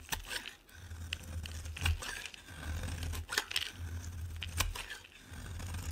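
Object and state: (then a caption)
Bar soap being scraped with a blade. A metal blade scrapes curled shavings off a solid yellow oval bar of soap held in the hand. Short, bright, crisp scraping and crackling strokes come in uneven bursts over a steady low hum.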